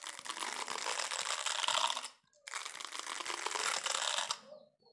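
Fingernails scratch and rub the plastic bristles of a hand-sized green plastic scrub brush, making a dense, bright, crackling rasp with no low end. It comes in two sustained passes of about two seconds each, separated by a brief pause, and each pass tapers off at the end.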